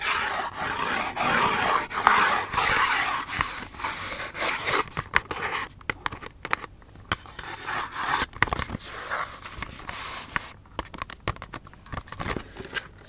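Fingernails tap and scratch a small, hollow yellow L'Occitane cardboard hand cream box. Dense, papery scratching centered around 1 kHz fills the first few seconds, then gives way to sparser, quieter taps and short scrapes with brief, dry knocks.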